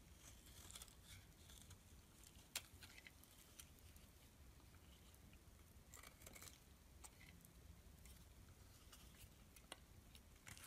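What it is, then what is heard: Bar soap being shaved. A metal blade shaves curls off the top of a solid blue bar of soap held in the hand. The result is quiet, soft scraping and crackling with brief bright ticks and clicks, plus one sharper snap near the middle, over a low background hum.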